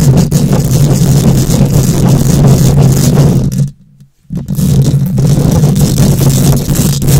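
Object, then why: Steel mesh microphone grille. Long nails rapidly scratch a hollow steel mesh microphone grille with both hands, producing a loud, dense, continuous rasping with a strong low boomy hum underneath. The scratching stops for a brief silent gap just before the middle, then resumes at the same intensity to the end.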